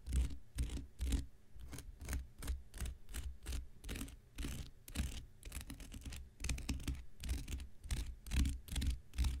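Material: Cellulose.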